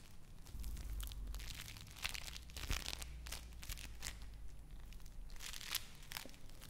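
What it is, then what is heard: Play foam (foam bead clay) being squeezed. Yellow bead play foam (foam bead clay) is squeezed and crushed in the hand and pulled apart with the fingers. It gives dense, bright crackling and crinkling bursts, like tearing, over a steady low hum.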